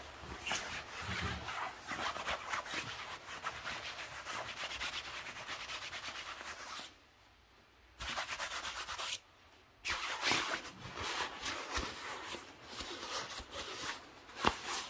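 Fingertips and a palm rub and squeeze the surface of a soft, filled, blue quilted padded nylon puffer jacket. The result is a steady, bright, swishing rustle that stops briefly twice near the middle before resuming.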